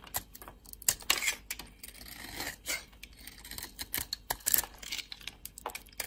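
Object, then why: Bar of soap. A solid oval bar of dry soap with a red shell and white core is held in the hand while a utility-knife blade carves and scrapes it. Quick, bright crackling scrapes and crisp little cuts follow one another unevenly, with almost no low end and no ring after each stroke.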